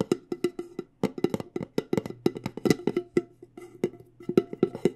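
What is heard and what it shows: A medium, decorated, hollow cylindrical metal loose-leaf tea tin is tapped with long nails on the lid top and the rim. About 27 quick, clicky taps come in uneven bursts, each with a short hollow ring centered near 360 Hz that dies away almost at once. A faint low hum sits steadily underneath.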